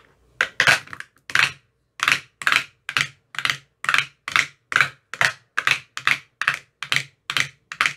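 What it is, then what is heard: Plastic ice cube tray tapped. A thin metal rod with a white rounded tip taps inside the hollow cells of an empty, translucent frosted plastic ice cube tray with 15 compartments. A series of sharp, bright, clicky taps with a faint low thump comes at an uneven pace of about two per second. Each tap dies away almost instantly.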